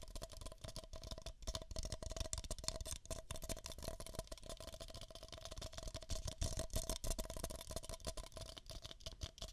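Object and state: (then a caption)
Paper cups scratched and tapped. Two identical empty beige paper cups, hollow, are scratched and tapped with long nails close to a microphone. The result is a quick, irregular stream of dry, bright scratching and light tapping, with dull hollow thumps underneath.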